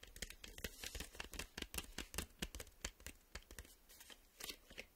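Fingertips and nails tap and scratch across the front and back of a printed cardboard VHS tape sleeve, a hollow box. Quick, uneven dry taps mix with papery scraping and crinkling, with short bright clicks and no ringing.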